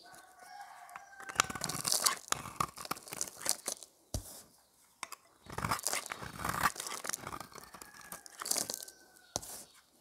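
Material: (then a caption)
Soap. A hand-sized, solid, rounded white dry soap bar is held in one hand while the blade of a metal utility knife scrapes and shaves its surface, dropping soap curls onto a pile of shavings. Crisp, dry crunching and scraping come in bright bursts, with brief pauses between strokes and a faint whistling tone running under some of them.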